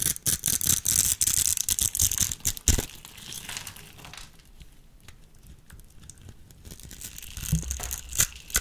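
A utility knife blade cuts and scrapes the scored end of a solid, hand-sized peach soap bar held in the hand, breaking off small cubes. Rapid, bright, crisp scratching and crunching bursts fill the first few seconds, then give way to a quieter, softer scraping. A few sharper crunches return near the end.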